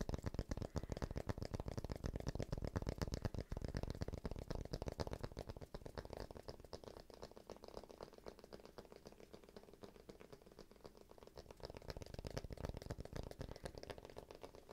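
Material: Cork.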